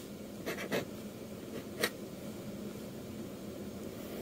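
A metal dip-pen nib scratches inking strokes across a flat sheet of manga manuscript paper. Short, bright scratchy strokes rise briefly above a quiet, steady hiss, with a longer gap before a final sharper stroke.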